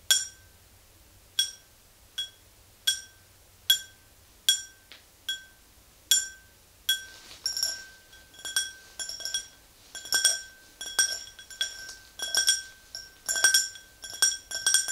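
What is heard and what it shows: Long green nails tap the sides of an empty clear drinking tumbler standing on a rug, making bright, glassy clinks with high ringing tones that fade quickly. The taps start slow and well spaced, then become quicker and more clustered in the second half.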